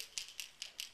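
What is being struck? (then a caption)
Plastic topwater fishing lure with internal rattle. A plastic topwater surface-walker fishing lure with a single plastic rattle inside is shaken, giving four quick, bright, high-pitched rattling clicks. Its rattle is more subtle than that of a lure with two rattles.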